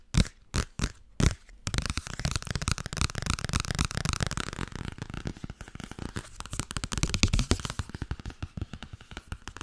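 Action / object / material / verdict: tap / paperback book with paper cover / paper / none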